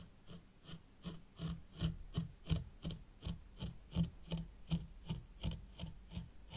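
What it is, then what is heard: Fine sand raked in a tray. A thin white plastic stick is drawn slowly through fine sand in a small hexagonal zen garden tray, raking and scraping it. About 15 short, soft rasping strokes repeat at a fairly steady rhythm, each a low, muffled grainy rub with a faint bright hiss on top that stops almost at once.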